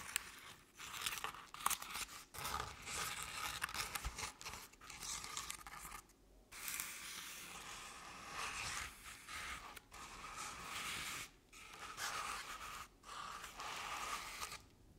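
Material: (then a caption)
Crepe paper. Long nails scratch along the ribbed sides of a crepe-paper covered decorative jack-o'-lantern pumpkin. The result is dry, bright, crinkly scraping strokes that come in steady bursts separated by brief pauses.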